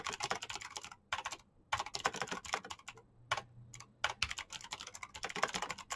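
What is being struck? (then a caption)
Plastic mechanical keyboard. Fingertips tap continuously on a black plastic backlit mechanical keyboard with green clicky switches, giving fast, bright, crisp clicks with very short decay. The typing comes in rapid bursts separated by brief pauses, with a quieter stretch in the middle before it picks back up.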